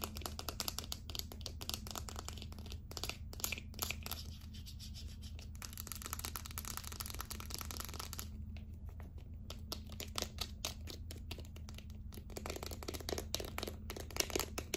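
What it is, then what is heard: Plastic deodorant stick. A small, hollow, light-blue plastic deodorant stick with its cap on is turned in the hands and tapped and scratched with long acrylic nails. Rapid, bright, crackly scratching and clicking taps run throughout, easing into a softer, smoother rubbing stretch in the middle before the quick tapping returns. A steady low hum sits underneath the whole time.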